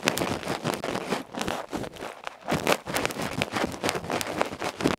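A bamboo ear pick scratches rapidly across the black felt face of a small, hollow aluminium electret microphone capsule held in the fingertips. The result is a close, harsh, bright stream of scraping and rustling bursts with short, dry strokes and almost no ring. There is a brief lull near the middle before the scratching picks up again.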